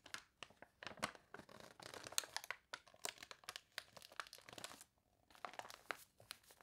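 Fingertips and long nails rub and turn the wavy pages of a glossy paper toy catalog. The result is quiet, bright, crinkly crunching and rustling in quick uneven bursts, with a short silent pause near the end before the crinkling resumes.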